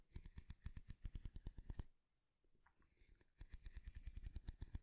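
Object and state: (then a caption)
Wooden comb. A light wooden comb with fine teeth is held in one hand while fingernails tap rapidly on its flat wooden back, making dry, low clicks. After a short pause, a quieter scratch of nails running along the teeth follows, then the quick tapping on the wooden back resumes.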